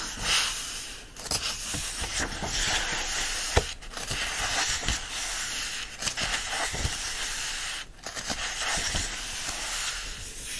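Fingertips and nails rub and scratch across the printed paper pages of an open yellow-covered paperback lying on a fleece blanket. The sound is a steady, bright, hissy scraping with little low end, broken by a few brief dips and one sharp click.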